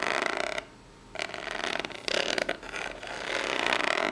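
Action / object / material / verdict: scrape / corrugated cardboard box / cardboard / none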